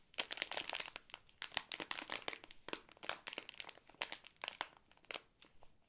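A full Ahoj-Brause bonbon bag made of crinkly plastic film is held in the hands and squeezed with the fingertips. It gives dense, bright crinkling in quick irregular bursts, with almost no low end and short pauses between squeezes.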